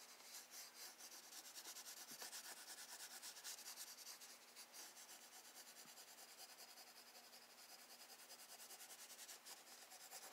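A wooden graphite pencil held in the fingers shades water strokes on a spiral-bound Strathmore drawing paper sketchbook lying flat on a wooden desk. Quiet, continuous scratching and rubbing comes in short back-and-forth strokes at a quick, uneven pace. The sound is bright and papery, with almost no low end.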